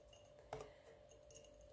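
Fingernails gently tap a small glass pot with a plastic lid, a pot that originally held yogurt. A couple of soft, light clinks with a brief, short ring stand out over a quiet background with a faint steady hum.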